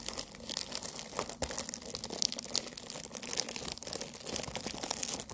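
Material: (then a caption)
Cardboard, plastic film. Long nails tap and scratch a medium rectangular green cardboard tea box with a lemon print, wrapped in plastic film and likely full of tea bags. The result is a dense stream of quick, dry crinkling clicks and scrapes, bright and papery with almost no low end, each tap dying away instantly.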